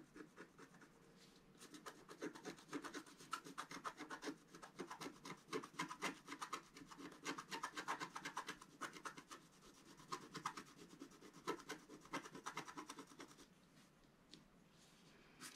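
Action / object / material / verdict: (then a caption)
scrape / scratch-art card scratched with a wooden stylus / coated paper / none. A thin wooden stylus held in the fingers scratches the black coating off a flat scratch-art card page with a colourful underwater motif, lying on a table while the other hand holds the page down. Dense, quick, dry rasping strokes come in rough bursts of short scratches with a bright, papery hiss. Quieter pauses come near the start and end.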